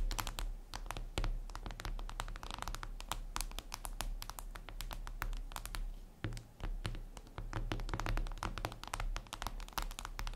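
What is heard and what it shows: Long red acrylic nails on both hands tap quickly across a flat, glossy black glass surface, likely a tablet screen. Dense, rapid clicks with bright edges ride over a steady low hum, with only a brief lull partway through.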